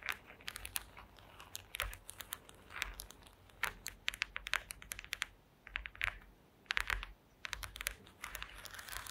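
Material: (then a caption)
Wood. Long acrylic nails tap and scratch across a flat woven placemat made of small wooden slats. Quick, dry, bright clicks arrive in irregular clusters, mixed with short scratchy rasps. Each sound stops almost instantly, with quiet pauses between the bursts.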